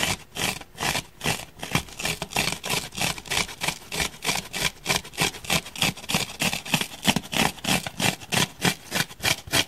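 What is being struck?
Open-cell foam block.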